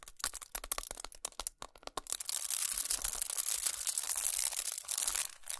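Long nails tap and scratch crinkled aluminum foil wrapped around a chocolate bar. Quick, sharp, dry taps come first, then give way to a steady, bright crinkling scratch that fills the high end with little low-end weight.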